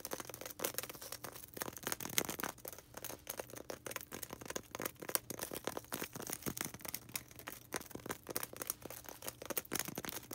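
A small, solid white polystyrene foam ball, held in both hands, is scratched rapidly with long red nails. Dense, bright, dry scratching and crackling strokes follow one another quickly, with a faint steady low hum underneath.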